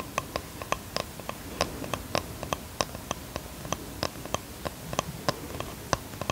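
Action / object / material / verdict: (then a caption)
tap / small flat light-wood box / wood / none. Long fingernails tap and scratch a small, flat box of light wood. About 23 quick, sharp taps with a bright click near 1 kHz die away almost instantly, over a soft, steady scratching texture.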